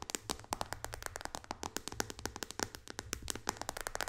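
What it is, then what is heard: Glass tablet touchscreen. Long dark fingernails from both hands tap quickly on the glass touchscreen of an iPad resting flat on a lap. The result is a fast, uneven stream of sharp, bright clicks that stop almost instantly, over a faint low hum.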